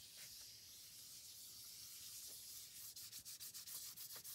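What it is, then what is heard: Cardboard photo card. Fingertips and short painted nails rub and scratch across the printed surface of a small, flat, thin, solid pink cardboard photo card held in the hand. A steady, bright, dry hiss runs for nearly three seconds, then breaks into seven quick, separate scratching strokes of high-pitched rasp.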